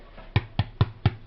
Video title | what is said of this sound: Aldi's crusty white bread mix review | Can you hear that hollow sound? That's a sign that the bread's well and truly cooked.